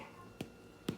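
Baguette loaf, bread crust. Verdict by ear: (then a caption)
Hollow. A fresh baguette is tapped twice, giving two short, hollow knocks with a low thump around 180 Hz. The hollow sound shows the bread is baked through and ready to come out of the oven.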